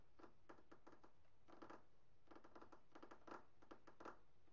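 Both hands drum rapidly on a flat, polished, speckled solid granite countertop with fingertips and short nails. Quiet clusters of light, clicky taps come in uneven bursts, each with a hard nail tick and a dull knock from the stone.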